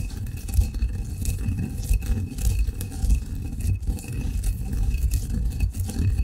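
A granite pestle grinds fine coffee grounds in a granite mortar, producing a continuous low, rough grinding rumble. Gritty scraping swells and fades irregularly as the pestle works, with faint bright crunchy streaks over the heavy bass.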